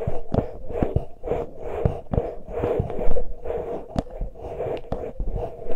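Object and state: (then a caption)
Metal mesh microphone grilles being scratched. Fingertips of both hands lightly touch and scratch the uncovered metal mesh grilles of the small X-Y microphone capsules on a Tascam recorder. The result is a close, deep run of soft thumps and rustling scrapes with a steady midrange hum beneath. Brief bright ticks cut through now and then.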